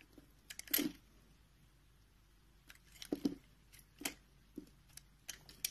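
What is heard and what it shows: A green-handled utility knife scrapes and cuts small cubes off the edge of a solid, palm-sized mint green soap bar, and the cubes scatter onto the surface. Short, crisp, bright scraping and crunching bursts come at irregular intervals, separated by quiet gaps.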